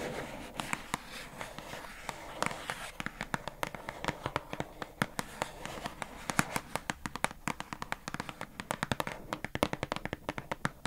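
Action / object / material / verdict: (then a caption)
tap / small plastic storage box with paper label / plastic / none. Long acrylic nails tap rapidly on the labelled front panel of a hollow pink plastic squishy storage box with a paper label, held up close. Dozens of sharp, dry, clicky taps come in quick irregular bursts, each dying away almost instantly over a faint background hiss.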